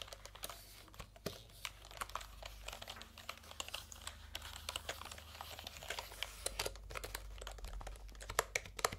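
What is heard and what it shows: Fingertips type and tap on the round plastic keycaps of a plastic computer keyboard held upright. A fast, uneven stream of short, sharp clicks and clacks rings bright and dies almost instantly, with a faint low hum steady underneath.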